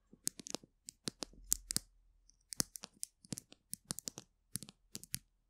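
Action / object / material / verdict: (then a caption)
tap / plastic glue stick tube / plastic / none. Long acrylic nails scratch and tap along the barrel of a small, colourful polka-dot plastic glue stick, a hollow capped tube held in both hands above a microphone. About 23 sharp, bright clicks sound in quick irregular bursts, with a brief soft scratching stretch between them. Each tap dies away almost instantly, and the whole clip is quiet.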